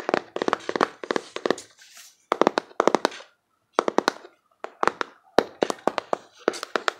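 A closed, hand-sized rectangular printed cardboard box of cards is tapped with fingertips and nails on its front and back. Quick bursts of dry, crisp clicks come in clusters with short silent pauses between them, and each tap stops almost at once.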